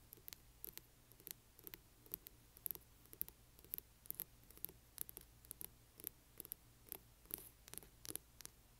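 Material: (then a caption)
Board and cloth. Long nails scratch along the spine and cover edge of a large hardcover book in quick, repeated strokes. Each stroke is a short, bright, crisp scrape that dies away almost instantly, over a quiet, steady low background hum.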